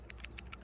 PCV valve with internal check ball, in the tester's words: You shake it, and you still hear the ball moving in there.